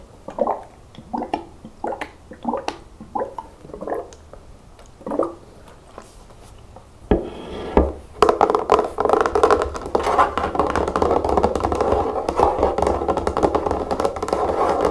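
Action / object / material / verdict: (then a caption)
tap / plastic nail polish remover bottle / plastic / none. Long natural fingernails tap a large, hollow pink plastic bottle of nail polish remover that is partly filled with liquid, first while it lies on its side and then while it stands on a table. Spaced, short, hollow plastic taps give way after about seven seconds to dense, rapid tapping with a faint liquid slosh.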